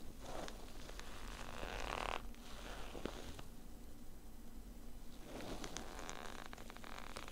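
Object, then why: Padded nylon zip case. Fingertips and short nails scratch and rub the woven fabric top of a small, hollow, black padded nylon zip case, making a steady soft rasping with faint crackles. The scratching eases to a quieter hush in the middle, then builds again into busier scraping toward the end.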